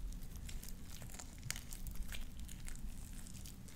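A handful of soft, sticky light-blue slime with small white beads is stretched, squeezed and popped between both hands, worked by fingertips and long dark-painted nails. It gives off continuous wet squelching with quick, bright pops and crackles over a low rumbling base.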